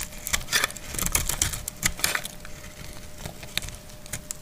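A solid, dry green soap bar held in the hand is sliced with a metal utility blade. It makes a rapid series of crisp, dry clicks and scraping cuts with bright, crackly detail. Each cut stops short, with almost no ring after it.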